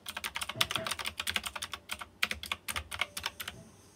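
Fingertips type on a white plastic mechanical keyboard with round chrome-rimmed keycaps. About two dozen bright, crisp clicks arrive in a quick, uneven run, each one short and sharp, and the run trails off into quiet at the end.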